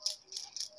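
A cheap metal LPG gas regulator is locked, its inner part pressed, and the regulator shaken to check for the internal steel safety ball. It gives a bright, high rattle in short bursts. The rattle confirms the ball is present, so the leak safety feature works.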